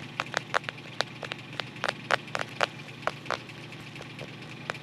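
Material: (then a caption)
Cardboard. Fingertips rub and scratch along the paper-covered cardboard spine of a closed photo album as it is turned to show its spine and then its back cover. A quick, irregular series of short, dry, crackly scratches stands out over a quiet, steady background hiss.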